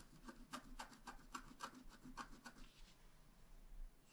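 A wooden stylus tip scratches a flat, black wax-coated scratch-art card, a solid thin card about A5 size lying on a table, near its upper edge. Seven short, dry scraping strokes rasp across the surface with bright highs and a midrange tone around 1.1 kHz. A quieter, steady rubbing trails off after them.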